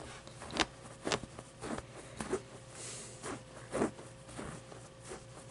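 Long dark nails scratch quickly over the fuzzy embroidered pit and fabric of a medium, soft stuffed avocado plushie. About six short, dry, bright rasping bursts stand out over a quiet, soft fabric hiss. A faint steady tone runs underneath.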